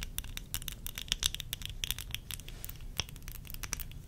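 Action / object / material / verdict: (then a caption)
tap / plastic eyeglass frames with lenses / plastic / none. Long acrylic nails rapidly tap and scratch a pair of small, worn, hollow-rimmed tortoiseshell plastic eyeglass frames with lenses. The result is a dense run of sharp, bright clicks and light scratches that stop almost instantly, with a faint ringing tone near 3.4 kHz on the louder taps. A low rumble sits underneath throughout.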